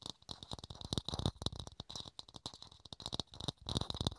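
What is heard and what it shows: A small, hollow, empty clear plastic dome lid held in the hands is tapped rapidly with the fingertips and nails. The result is a quick, irregular patter of dry, hollow clicks, each with a soft low thump and a bright plastic tick. Every tap dies away almost at once, with no ring.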